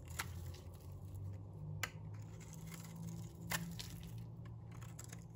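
A metal box-cutter blade scrapes the surface of a solid, dry, pink rectangular bar of soap. Crisp, dry scraping and crunching strokes flash bright and sharp over a steady low hum. Each scrape ends quickly with almost no ring.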